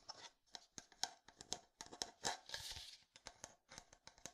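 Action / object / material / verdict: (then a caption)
tap / plastic sports water bottle / plastic / none. Fingertips tap and scratch a hollow red plastic sports water bottle with a black cap. The result is a quick, irregular run of crisp, bright clicks with almost no low end and no ring. A longer scratchy rasp sits in the middle.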